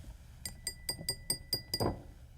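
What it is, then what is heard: Real glass parfait cup. A glass parfait glass is tapped seven times in a steady rhythm, giving bright, high clinks that ring briefly. The clear glassy sound shows the parfait glass really is made of glass, unlike a child's cup.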